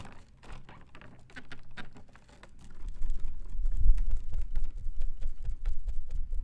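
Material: Plastic.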